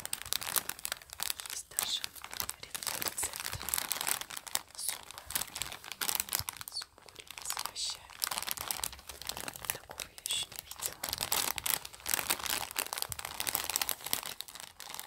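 Fingertips and long nails crinkle and scratch a small, filled, printed plastic packet of dried bay leaves. Dense, bright crackling and scratchy rustles run steadily for about fifteen seconds, with almost no low end and each crackle cut off instantly with no ring.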